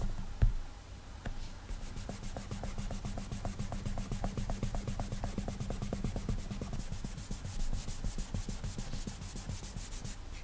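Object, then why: Glass tablet touchscreen. Fingertips rub and swipe back and forth across a flat glass iPad touchscreen while the side of the hand rests on the screen. The result is a steady train of quick, soft rubbing strokes with brief bright swishes over a low, muffled rumble.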